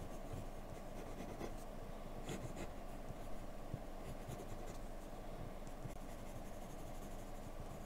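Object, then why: Graphite pencil on paper sheet. A yellow-capped wooden graphite pencil makes small strokes across a flat white paper sheet while shading hair. The result is a quiet, steady scratching and rubbing with a low, muffled body and faint bright flecks of grit. The level stays even throughout.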